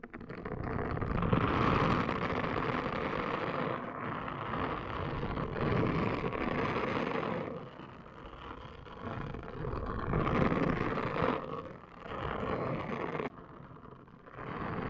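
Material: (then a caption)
Silicone. A pink, palm-sized, hollow-domed silicone/plastic scalp brush with a handle loop and short bristles is held by a hand with long green nails and scrubbed and rubbed across a woven placemat, while the nails also scratch the brush top. The result is a steady, dense scratchy rubbing in long bursts with brief quieter dips, full in the low and middle range with little high hiss.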